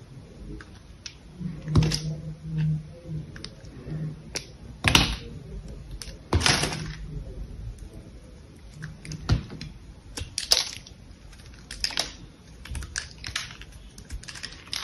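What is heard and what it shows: A palm-sized, solid cream-white soap bar with some gold pattern left on it is held in the hand while a utility-knife blade shaves and carves thin slices off it. Crisp, bright scraping cuts and short clicks come in uneven bursts over a soft low hum, and the bar stays solid under the blade.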